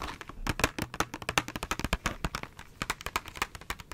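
A small KISS press-on nails package, a clear plastic blister on a cardboard backing held in one hand, is tapped and crinkled with long nails. A fast, dense run of short, crisp clicks and taps sounds close-up, each dying away almost at once, with bright plastic crackle between them.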